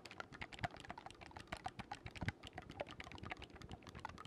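A black wooden oboe with silver metal keys is held upright near the microphone while fingertips quickly press and release its keys. The result is a fast, steady run of soft, dry clicks and light taps, each dying out almost at once, with a faint sticky quality and a bright edge over a low thump.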